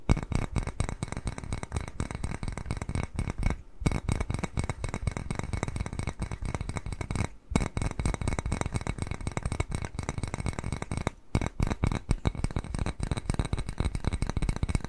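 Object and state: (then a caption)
Ceramic cat-shaped bowl. A small white glazed ceramic bowl shaped like a cat face, hollow and empty, is held upright and tapped and scratched with fingernails. The result is a dense stream of quick, dry clicks and scratchy taps, mostly low and dull with little ring. The stream breaks off in brief silences at around 4, 7.5 and 11 seconds.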